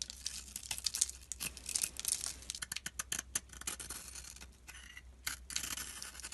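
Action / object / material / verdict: scrape / solid soap bar carved with a utility blade / soap / none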